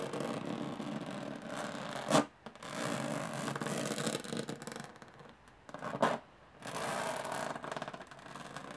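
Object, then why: Small aluminum case. Long fingernails scratch across the textured metal lid of a small, hollow aluminum briefcase, producing long rasping passages with short quiet pauses. Two sharper, louder strokes stand out in the scratching.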